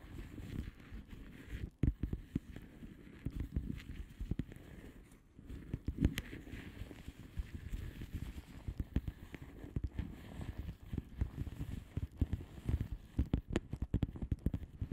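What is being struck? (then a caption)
Padded envelope with plastic bubble wrap. Long polished nails of both hands tap and scratch across the plastic bubble wrap surface of a flat padded envelope. The result is a steady, dense stream of quick, dry, muffled taps and crackly scratching, mostly low and soft, with sharper clicks popping out here and there and no ring after each one.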